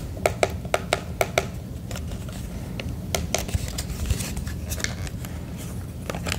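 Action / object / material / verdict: tap / plastic radio casing / plastic / none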